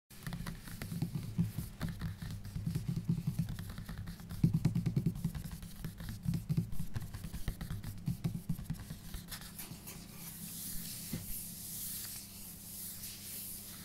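Bare fingertips and a palm tap and rub across the glossy printed card front cover of a large, closed Bleach paperback artbook lying flat on a desk, its solid stack of paper behind the cover. The irregular, dull taps are soft and low, with short thuds that die away almost instantly. Toward the end they give way to a softer, steady brushing with a faint bright hiss.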